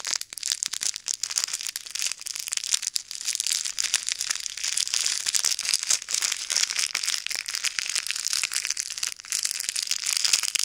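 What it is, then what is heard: Plastic bag of plastic beads. A small, full, clear plastic bag of pink, red and white plastic pearl beads is squeezed and kneaded between fingertips and thumbs above silicone ear microphones. The beads shift and the bag crinkles in a continuous, dense, bright rustle of rapid clicks and crackles, with almost no low end.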